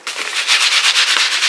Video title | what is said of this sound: Unboxing AliE - ZHANXIA Official Store Rhinestone & Crystal Jewelry world et petites toiles Homefum | Ça sonne les diamants, hein?